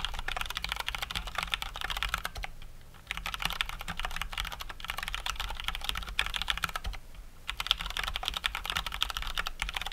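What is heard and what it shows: Both hands type fast with their fingertips on a COX Dauntless full-size mechanical keyboard with Cherry MX Brown switches and plastic keycaps. A dense, steady stream of bright, sharp clicks and clacks is heard, with a faint low hum underneath. The typing pauses briefly twice before resuming.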